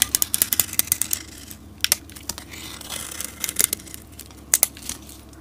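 A solid green soap bar is shaved with a metal utility blade, with flakes curling off. A fast run of crisp, bright scraping clicks comes in bursts, with softer crinkly shaving between them.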